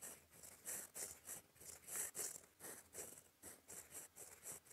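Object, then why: Metal pen nib on a paper sheet. A gold fountain pen nib writes in black ink across a flat, lined cream paper sheet in cursive strokes. About ten quiet, bright, scratchy bursts sound at an uneven pace, each one short and dry.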